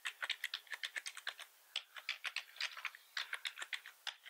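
Fingertips of both hands type fast across the keys of a full-size black plastic computer keyboard. About 25 bright, sharp key clicks come in quick bursts, with short pauses between runs and no low thump beneath them.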